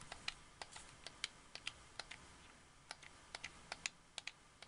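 A white, hollow, hard-plastic wireless Xbox 360 controller has its buttons, bumpers and triggers clicked and tapped with fingertips and long nails. There are about 18 separate sharp, bright plastic clicks at an uneven pace, each dying out almost instantly over a quiet, low background hiss.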